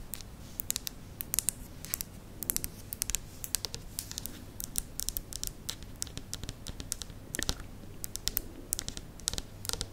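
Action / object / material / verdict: tap / plastic spiral lamp / plastic / none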